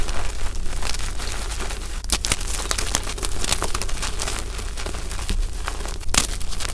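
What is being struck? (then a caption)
Magnesium carbonate chalk block and powder. Lavender gym chalk (magnesium carbonate) as loose powder and a solid block is squeezed in the hands by the chunk and pressed into with the fingers. The result is a steady run of gritty crunching and crinkling with many short, sharp cracks. A low rumble sits underneath, and a few brighter snaps stand out.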